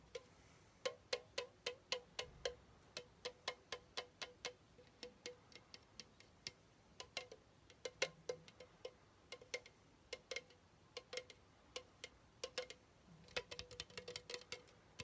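A hollow pink Chupa Chups aluminum soda can, held up close, is tapped and scratched with fingertips and nails. A long, irregular series of quick, bright metallic taps ring briefly with a light tone near 490 Hz, mixed with soft scratchy rustling that grows busier toward the end.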